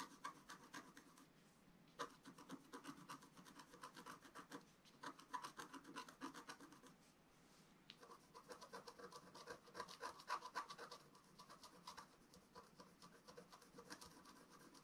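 A wooden stylus scratches across a flat, black-coated scratch-art paper sheet. It makes quick, dry, rasping strokes, about four per second, with a midrange scratchy tone and some brighter edges. The scratching eases into a brief lull around the middle, then resumes at the same busy pace.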